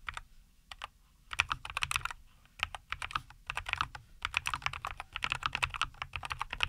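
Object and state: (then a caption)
Mechanical keyboard with plastic keycaps. Both hands type continuously with their fingertips on a NuPhy Air75 V2, a compact 75% mechanical keyboard with a white case, green and white plastic keycaps, and linear Cowberry switches, resting on a wooden desk. The result is a rapid, irregular stream of short, bright, crisp clacks in quick bursts with brief pauses, over a soft low thump from each keystroke.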